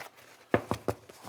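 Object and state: Baked-through bread loaf, hollow.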